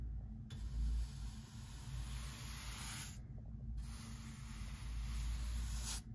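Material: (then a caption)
Pine wood. A hand-held bristle brush is swept back and forth across the rough surface of a solid pine lumber beam on the front of a workbench. It makes long, bright, breathy scrubbing hisses with a short pause midway. A steady low hum runs underneath throughout.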